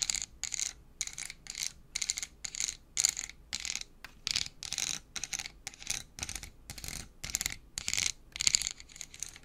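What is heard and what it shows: Long acrylic nails tap and scratch the flat face of a small clear plastic pack with a cardboard label, full of colored pencils, held up close. The result is a steady run of short, crisp, bright clicking and scratching bursts with a high, thin tone and almost no low end.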